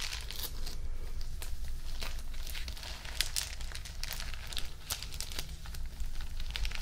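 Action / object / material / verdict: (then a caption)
scrape / clear plastic photo album sleeve / plastic film / none. Fingertips and nails press, rub and crinkle the clear plastic film sleeve of a photo album page as it is held and tilted. The result is a steady, close crinkling and crackling texture scattered with sharp, bright ticks over a low background rumble.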